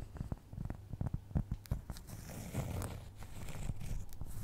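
A fingernail scratches across the surface of a solid, round, flat cork trivet. Short, dry scratching strokes come first, then blend into a steadier rough scraping with a dull, low-heavy tone.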